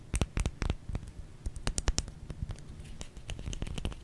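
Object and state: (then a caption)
Bar of soap. A small solid white bar of soap is turned in the hands and scratched and tapped with long nails on its flat and curved sides. Quick, dry clicks and scratchy taps come in an uneven string, each with a soft low thump under a bright, crisp edge that dies away almost at once. Faint rubbing and handling noise fills the gaps.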